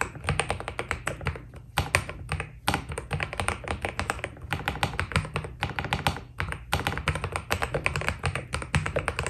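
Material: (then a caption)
PBT plastic. Fingertip typing with both hands on a white Keydous NJ80 mechanical keyboard with PBT keycaps. Rapid, closely spaced keystrokes in uneven bursts with brief pauses, each a short clacky tap with a deep low thock and a light bright tick on top.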